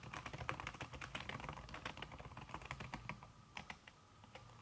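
Long red-nailed fingertips type fast on a backlit laptop keyboard in a silver aluminum body, its keys covered by a thin red silicone skin. The result is a dense run of soft, muffled clicks with bright tapping transients over a low thump, easing off toward the end.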